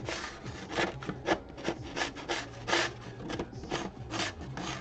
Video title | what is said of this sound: 13.11.23 - art diary | it's just really scratchy and even when I hit it with some spray paint on the inside